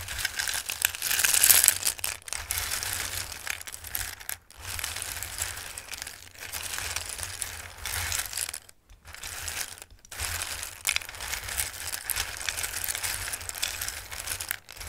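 Both hands sweep and rub over a full bowl of hard, raw dried pasta shapes, shuffling them. The result is a continuous bright, crisp rustling and clattering that runs for the whole clip with only brief pauses. It is loudest near the start.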